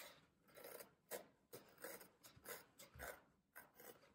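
Fingertips press down hard on a solid green floral foam brick, crushing the foam and leaving rows of dents along its edge. About eleven short, dry, raspy crunches come at an uneven pace, each a gritty burst centered in the midrange with a bright, hissy top that stops almost at once.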